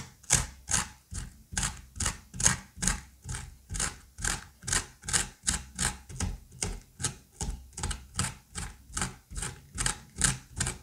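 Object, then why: Pumpkin flesh with seeds and stringy pulp. A plastic-handled curette scrapes seeds and stringy pulp out of the cavity of a rounded pumpkin half. About 26 steady, wet, slippery scraping strokes are heard at a brisk pace, each a short bright rasp over a soft low thump.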